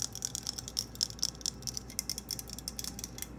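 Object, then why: Plastic claw hair clip. A hand-sized purple plastic claw hair clip, held close and handled, is tapped and clicked with long nails. It gives a quick, irregular run of sharp, bright, high-pitched clicks that stop instantly with no ring, over a faint low hum.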